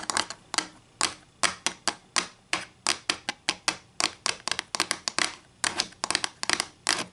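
Long green nails tap and scratch along a long, thin, solid wooden ruler with printed protractor markings, lying flat on a white table. A rapid, uneven series of sharp, dry clicks and brief scrapes is heard, bright and crisp around 1.7 kHz, with almost no low end. Each tap dies away almost instantly.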